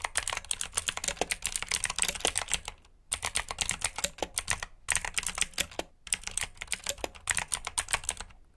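Fingertips with short nails type on a full-size black plastic mechanical keyboard with RGB backlit keycaps, clicky blue switches and hollow key housings. A fast run of bright, crisp clicks comes in bursts, broken by short pauses near 3, 5 and 6 seconds, each click dying away almost at once.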